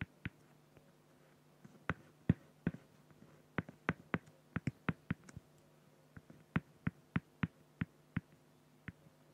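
A felt-tip pen hatches feathers on a flat, clear acrylic plexiglass sheet, making rapid short scratching strokes. About twenty sharp, dry ticks with very short decay come in uneven bursts over a faint, steady low hum.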